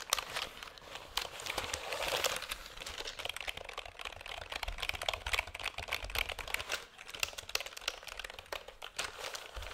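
A black plastic computer keyboard is held at angles near the mic while fingertips tap and press its keys. Dense, quick, dry clicks and crinkly tapping run continuously, mostly high and bright with almost no low end.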